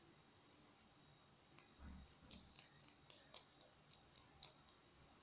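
A small, hollow black plastic marker is held in both hands and tapped with fingertips and nails on its barrel and cap. About fourteen quiet, sharp, bright clicking taps land quickly and irregularly, each dying away almost instantly. A soft low rustle is heard just before the taps cluster together.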